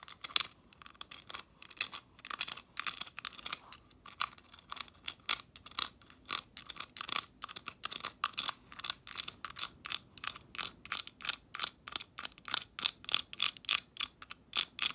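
Long acrylic nails tap and click along the dark ridged rims of a hand-sized, translucent, leaf-shaped decorative glass ornament. The result is a steady stream of rapid, bright, dry ticking clicks with no lingering ring and almost no low end, continuing in quick bursts throughout.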